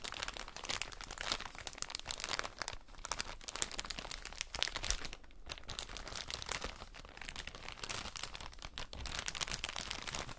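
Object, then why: Soft plastic bag filled with cotton pads. A soft plastic drawstring bag full of cotton wool pads is crinkled and squeezed with long nails and fingertips. Dense, bright crinkling and crunching runs steadily throughout, with brief quieter gaps, and the pads inside soften it slightly.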